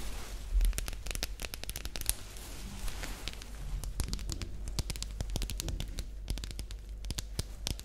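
A hollow, light green, glossy rectangular plastic pencil case is held in the hands and tapped and scratched with long nails. Rapid sharp clicks and dry crackling scratches come in quick bursts over a steady low hum, each tap dying away almost instantly.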